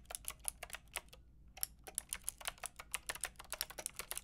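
Fingertips with long red nails rapidly tap the round pink and grey plastic keycaps of a Lofree mechanical keyboard with a white plastic case. About 25 bright, dry, clicky keystrokes come in quick bursts with a brief pause just after the first second. Each click dies away almost instantly over a faint low hum.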